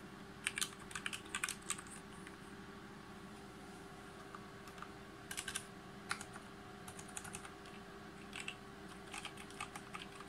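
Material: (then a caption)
Plastic. Both hands type with their fingertips on a full-size Logitech G513 Carbon mechanical keyboard with GX Brown switches, RGB backlighting and plastic keycaps on a brushed aluminum top plate, lying on a desk mat. Bright, crisp key clicks come in quick irregular bursts with short pauses between them. A steady low hum runs underneath throughout.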